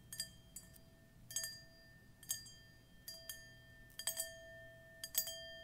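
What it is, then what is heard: Metal singing bowl. A hand-held dark metal singing bowl, hollow and empty and resting on a patterned cushion, is tapped and clinked by long pointed metal fingernail claws. Quiet, bright clinks come in an irregular series. Each one brings out a steady ringing tone that hums on underneath.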